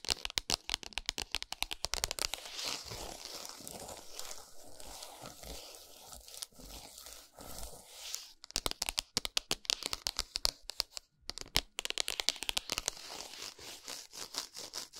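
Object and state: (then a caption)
Cardboard chocolate box, tapped and scratched. Long acrylic nails tap and scratch across the printed cardboard packaging of a flat Lindt Excellence strawberry dark chocolate bar lying on a towel. Quick, dry, bright taps open and close the clip, with a stretch of rough, crinkly scratching in between.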